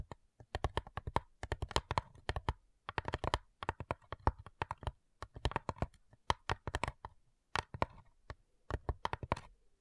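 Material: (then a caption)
Wood. Long nails tap rapidly on the lid of a flat, hollow cigar box made of light wood, in quick bursts of dry clicks separated by short pauses. Each tap is a short, hollow knock with a low thump and a woody tone near 940 Hz that dies away almost instantly.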